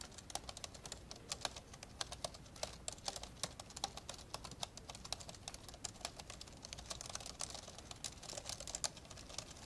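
Fast two-handed fingertip typing on the plastic keys of an old, open, dark grey plastic laptop. A dense, steady stream of short, bright, dry clicks and taps with no ring, over a faint low background hum.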